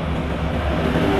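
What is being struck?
Nothing is struck.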